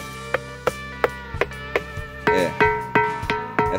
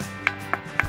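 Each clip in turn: First: Repeated sharp strikes on a granite boulder draw clear, bell-like tones near 480 Hz that keep ringing. Second: Three short, sharp clacks around 1.6 kHz die at once: a plain granite boulder with no bell-like ring.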